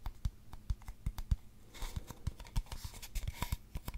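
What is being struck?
Cardboard tube.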